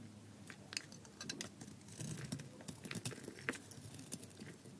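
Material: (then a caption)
Soap. A palm-sized, solid, gold-coated bar of dry soap with a tan core is held in the hand and shaved with a metal blade in scraping cuts, producing flakes. Quiet, dry crackling scrapes and crisp clicking snaps repeat in quick succession, some sharper and brighter than others, each dying away almost at once.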